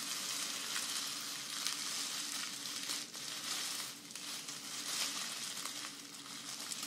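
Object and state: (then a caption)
Grass skirt strands rustled. A folded bundle of green grass-skirt strands (dried grass or raffia), held horizontally, is squeezed and scratched by both hands with long nails. This makes a dense, continuous, bright rustling and crackling, like sizzling, that swells and eases slightly throughout. A faint steady low hum sits underneath.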